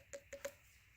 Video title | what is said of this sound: HOMEMADE DEER HUNTING STAND #deerstand #deerseason #deerhunting #huntinglicense #huntingstand #hunt | it's like honeycomb inside of it